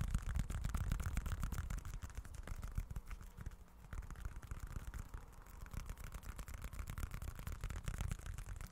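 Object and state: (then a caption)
Leather wallet. Fingertips scratch and tap a small, dark, folded leather-look wallet. The result is a dense, steady run of dry, muffled scratching and soft tapping, heavy in the low end, with each sound dying away almost at once.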